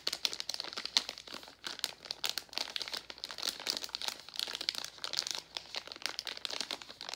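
A gold Werther's metallized foil-plastic candy bag is squeezed and crinkled with the fingertips. Dense, crisp crackles and rustles follow in a steady stream, bright and thin with almost no low end, each crinkle stopping almost instantly.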